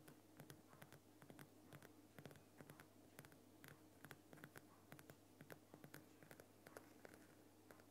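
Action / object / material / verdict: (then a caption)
tap / rock salt lamp crystal block / rock salt / none. A large, lit Himalayan rock salt lamp, a solid irregular crystal block with a bulb glowing inside, is tapped and scratched over its rough surface with the fingertips and nails of both hands. The result is a quiet, continuous stream of dense, short clicks and scratchy rasps over a steady low hum.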